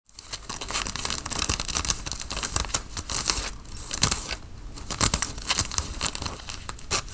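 Long fingernails scratch the chest fabric of a worn grey Nike quarter-zip cotton fleece sweatshirt near its black logo band. The result is a dense, bright, rasping scratch with quick irregular strokes and a few sharper, louder scrapes over a steady soft hiss.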